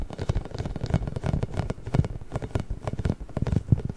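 Fingertips and nails tap and scratch a large pink, inflated, hollow rubber massage ball covered in small spikes. A rapid, uneven run of soft, dull thumps and rubbery scratching continues throughout, dominated by a deep, hollow low end with short bright flicks of scratch. Each tap dies away almost at once.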